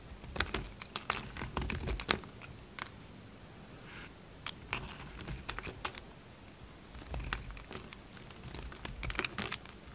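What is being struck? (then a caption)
Bar of soap. A solid peach bar soap held in the hand is carved into facets with a yellow utility knife, flakes curling off. Irregular, crisp, bright scraping and cutting clicks come in clustered bursts, with a quieter soft stretch in the middle. The clip ends with another dense run of sharp shaving ticks.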